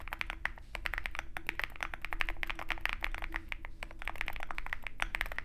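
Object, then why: Mechanical keyboard with metal case and plastic keycaps. A compact 65% Zoom65 mechanical keyboard with a dark metal case and white and black plastic keycaps is typed on rapidly with the fingertips of both hands. Dense, crisp key taps with a bright clack centered around 1.8 kHz fall in quick succession, each one dying away almost instantly over a low background rumble.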